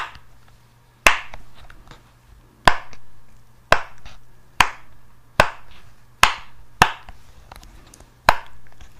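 A hand-sized pink and yellow silicone pop it fidget toy with hollow bubbles is held close and popped with long nails and fingertips. Eight sharp, separate pops ring out over a faint steady low hum, each a bright snap centered around 1 kHz that fades quickly into a short hollow tail.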